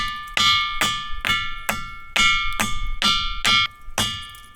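A ringing rock, a boulder in Gujarat, India, is struck nine times in a steady rhythm. Each strike gives a bright, metallic, bell-like tone centered near 1.2 kHz with stacked higher overtones, ringing out briefly before the next hit. The boulder rings like metal, as expected for this kind of rock.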